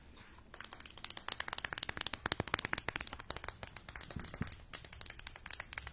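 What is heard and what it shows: Long nails tap and scratch a small, hollow, purple metallic-look plastic mascara tube. After a brief quiet start, a rapid, uneven run of crisp, bright clicks and scratchy crinkles follows, each dying out almost instantly with little low end.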